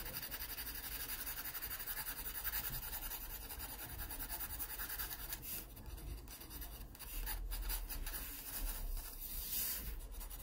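Fingers hold a yellow wooden graphite pencil and make quick, dense scratching strokes on the paper page of an open sketchbook lying flat. A steady, raspy scratching runs throughout with a bright papery edge, over a constant low hum.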